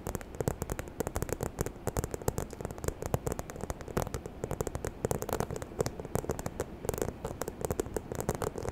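Long nails tap and scratch the front of a small, hollow, white croc-embossed faux leather handbag with gold hardware, held in both hands. Rapid, dense, dry clicks and taps mix with soft scratchy rustling, backed by a low, hollow body and no ringing after each tap.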